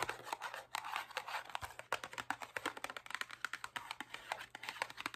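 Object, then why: Printed cardboard cookie box. A medium, closed, printed cardboard Oreo cookie box, apparently full of cookies, is held up in one hand and tapped and scratched with long acrylic nails on its faces and sides. The result is a rapid, steady stream of short, crisp clicks and papery scratching with almost no low end.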